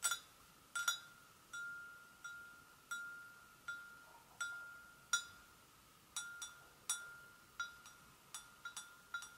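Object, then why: Porcelain gravy boat. An empty, hollow white porcelain gravy boat is gently tapped with long nails on its sides and handle. The result is an irregular series of light, clinking taps, each with a brief ringing tone around 1.4 kHz and bright overtones that fade quickly.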